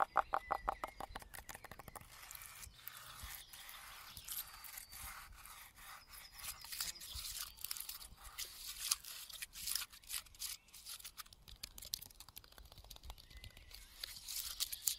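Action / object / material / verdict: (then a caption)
scrape / pine tree trunk bark / bark / none. Fingertips and nails scratch and rub the rough, scaly bark of a large, solid standing pine trunk, next to a stripped strip of wood. A quick run of sharp, dry clicks opens the clip, then settles into steady, bright crackling and rustling scrapes with little low end. The scraping swells in occasional louder bursts.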